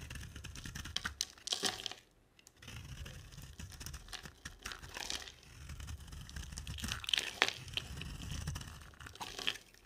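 An oval, dry bar of soap with a black glitter coating over a green core is held in the hand and shaved with a utility knife blade. Bright, crisp scraping and crunching strokes come in bursts, with a brief pause near the two-second mark, as the shavings pile up.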